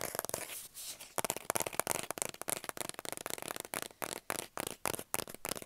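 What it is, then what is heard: Cardboard mailing tube. A hollow kraft cardboard mailing tube, about 25 cm long, is tapped and scratched with the fingernails along its outside. The clip opens with a dense, rough scratching burst, then gives way to quick, dry, bright taps and scrapes with short gaps between them and no lingering ring.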